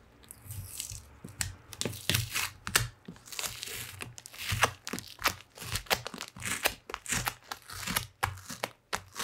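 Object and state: Cardboard box scraped.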